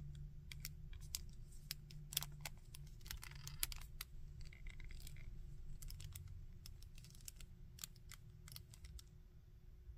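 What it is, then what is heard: Plastic action figure. Fingertips and nails tap and scratch the back and chest of a small painted plastic Iron Man action figure and move its arms. Quick, dry clicks and light scratchy rasps stand out bright over a steady low rumble and faint hum. The level stays quiet throughout, with a few sharper taps peaking above the rest.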